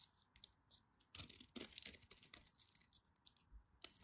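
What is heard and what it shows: A dark craft knife blade scrapes and carves flakes off a solid pink and white striped bar of soap held in fingers with long white nails. The sound is crisp and bright, with light scratchy clicks at first and then denser crunchy shaving strokes in the middle, easing back to soft scrapes.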